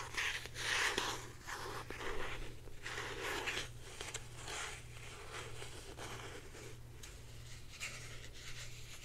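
Long painted nails scratch and tap a hand-held blue plastic Secret deodorant stick, a hand-sized hollow stick with a cap. Soft, dry scratching and rubbing is broken by a few sharp clicking taps with a bright edge. A steady low hum runs underneath throughout.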